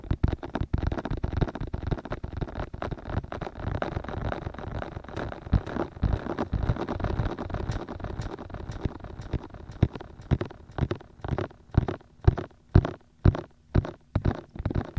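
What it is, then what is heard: Silicone microphone ears tapped. Fingertips tap on the outer shells of the white, hollow silicone ears of a 3Dio binaural microphone. A dense, rapid patter of soft, low, muffled thuds fills the first ten seconds. It then thins into slower, evenly spaced taps with short silences between them.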